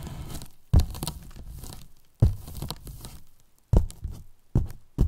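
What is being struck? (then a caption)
Polyethylene foam box. Wooden brush handles scratch across the top of a large, white, hollow polyethylene foam box, then tap its sides. A soft, low scratching rustle gives way to several dull, hollow thuds that die away quickly, each followed by brief scraping.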